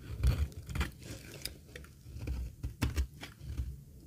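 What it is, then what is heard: Dry laundry soap bar being shaved. A metal blade shaves the edge of a solid, dry green laundry soap bar held in the hand. It makes a series of short, crisp scraping crunches with bright flecks over a dull, low thud. Each cut stops almost at once, leaving quiet gaps between strokes.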